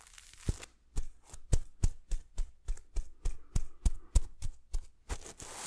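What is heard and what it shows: A hand swipes back and forth across a red sequin throw pillow with a silver heart, held close to the microphone. Quick, steady strokes make a series of short, scratchy swishes, each with a soft low thump and a bright, crinkly rustle.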